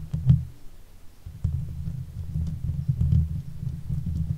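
Long nail tips wrapped around the hollow steel mesh head of a silver Blue Yeti microphone scratch across the grille. It comes through as a dull, low rumbling scrape with almost no brightness, broken by a few short, louder bumps over a steady muffled rustle.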